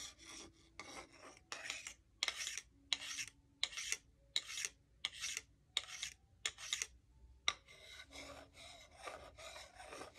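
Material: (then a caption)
Wood. A solid wooden salad fork, held in one hand, is scraped and rubbed along a solid wooden salad spoon held in the other. It makes dry, bright, rasping strokes that repeat at an uneven pace, with short silent gaps between them in the middle. The clip ends in denser, quicker rubbing.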